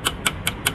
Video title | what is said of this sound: REVIEW RANGKA ESAF HONDA DI TAHUN 2025 (STYLO 160) | kalau kita ketuk-ketuk ya ini lebih padat ini, Lur. Nah, enggak seperti rangka esap terdahulu